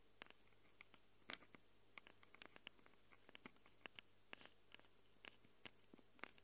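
Long acrylic nails quickly scratch the plastic and metal-rimmed microphone capsules of a small handheld Tascam recorder with a plastic body. The result is a quiet run of sharp, dry clicks and scrapes, each dying away almost at once, brightest around 2 kHz and reaching high, over a faint low hum.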